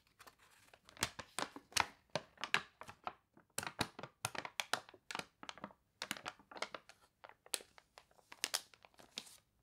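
A glossy paper toy catalog with water-wrinkled pages is handled up close, its pages turned and then the crinkly page rubbed with long nails. Dense bursts of bright, crisp crinkling and crunching follow one another with brief quiet gaps, each sharp and quickly fading, with almost no low end.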